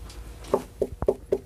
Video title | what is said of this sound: Bass Hack: Center Channel "Knock Test" (Mounting Surface, Not Cabinet) | you still have some some sound coming out of it